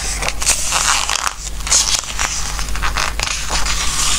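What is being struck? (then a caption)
Glossy paper book pages. Fingertips slide and rub over the glossy paper pages of a softcover Christmas craft book, then lift and flip the pages. The result is a run of crisp, bright crinkling rustles and papery swishes over a faint, steady low hum.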